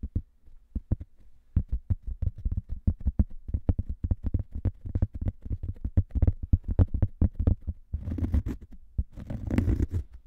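Two identical thin round cork coasters, one held in each hand, are slowly tapped and scratched with fingernails. Many short, dull, low thuds follow one another with almost no ring, building to denser scratchy rustling bursts toward the end.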